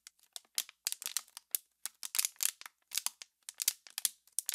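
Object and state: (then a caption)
Crinkling empty plastic water bottle. An empty, hollow, clear thin plastic water bottle with its label removed is held in both hands with long pink-painted nails and squeezed and crinkled close to the microphone. About 23 sharp, bright crackling bursts come in quick, uneven succession, with almost no low end and no ring between them.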